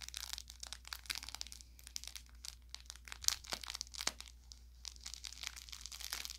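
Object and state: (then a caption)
Plush toy with crinkle filling. An orange velour plush carrot toy, about forearm length, soft and stuffed with a crinkle layer inside, is held in one hand while the fingertips of the other hand squeeze and rub along its body. This produces a steady run of bright, dry crinkling and crackling, with a couple of sharper pops standing out midway, over a faint low hum.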